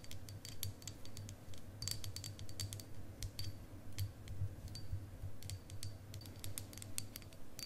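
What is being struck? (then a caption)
Quartz crystal point tapped with fingernails. A long, solid, faceted clear quartz crystal wand about hand length is held in both hands and tapped and scratched with long acrylic nails. Crisp, irregular clicks and bright scratches with short, bright ringing repeat throughout over a steady low hum.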